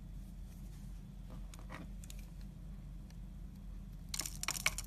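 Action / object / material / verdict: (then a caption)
scrape / bar of soap / soap / none. A hand-sized solid blue Lux bar soap is held in the hand while the blade of a yellow utility knife scrapes and shaves its edge, sending soap flakes falling. Faint, scattered scratches sit over a steady low hum. Near the end, louder bright, crisp scraping and shaving bursts cut through.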